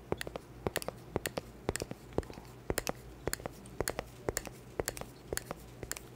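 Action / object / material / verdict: tap / cork board / cork / none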